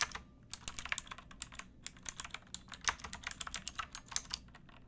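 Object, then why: Plastic mechanical keyboard. Both hands type with fingertips and nails on a pink backlit mechanical keyboard with plastic keycaps. About 25 sharp, bright clicks fall in an uneven rhythm over a faint low hum, each dying away almost instantly.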